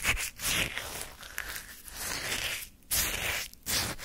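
A wooden spoon scrapes and lifts crunchy chunks of orange shaved-ice sorbet from a small paper cup. Bright, gritty crackling scrapes come in several bursts, with short quiet gaps between strokes.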